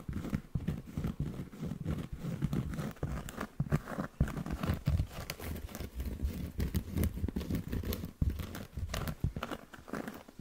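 Short fingernails scratch across the face of a round, flat, solid cork coaster held right next to the microphone. The result is a dense, continuous run of rough, close-up scratching and crinkling strokes with a deep, heavy low end and very little brightness.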